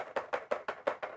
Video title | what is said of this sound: Radiateur 4Umor : chaleur tournante | c'est une boule métallique qui fait contact dans une espèce de coupoles on l'entend quand on secoue